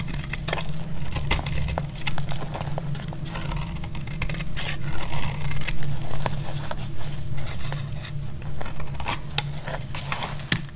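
A utility blade scrapes a solid orange bar of soap into thin shavings. Quick, irregular dry scraping strokes with short bright clicks repeat throughout, over a steady low hum.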